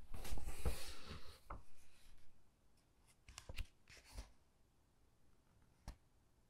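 Fingertips with long dark nails rub, squeeze and turn the glossy pages of a large hardcover Titanic book filled with black-and-white photos. A loud, bright papery rustle fills the first two seconds, then fades into quieter stretches broken by short, crisp page flips and snaps.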